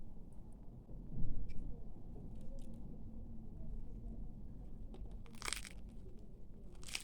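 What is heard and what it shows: A freshly baked, layered cheese börek is sliced up close, giving a low crackly crunch with a few brighter crisp snaps as the outer pastry flakes apart. The outside is crisp while the inner layers stay soft.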